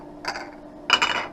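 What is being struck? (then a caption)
Trivex plastic eyeglass lenses. Freshly cut Trivex plastic eyeglass lenses with Crizal Prevencia blue-blocking coating, made for a gray-front Ray-Ban 8901 frame with carbon-fiber temples in a 53 eye size, are rattled together in two short bursts. The lenses give bright, dry clicking clinks centered around 3 kHz with almost no ring. The sound is made to compare them with a polycarbonate lens, since each lens material has its own sound and can be told apart by ear.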